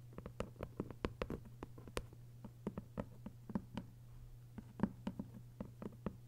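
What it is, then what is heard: Hardcover book with paper dust jacket. Long pale acrylic nails tap and scratch the paper dust jacket on the front cover of a closed, thick hardcover copy of 1Q84 Book 2 lying flat on a fabric surface, with flat palms at times resting on it. Many quick, dry clicks, some soft and some sharper and brighter, sound in an irregular patter over a steady low hum, each dying away almost at once.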